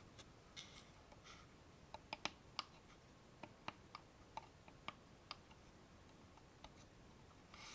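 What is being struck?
Small wooden box with metal clasp.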